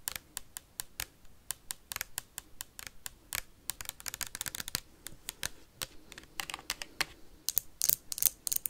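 A small clear plastic hand sanitizer bottle with a white cap, holding liquid and held in the hand, is tapped and scratched fast with metal paperclips clipped onto long nails. Rapid, sharp, bright clicks and ticks come in uneven bursts with very short decay, sounding like quick typing. Near the end, brief scratchy flurries grow louder.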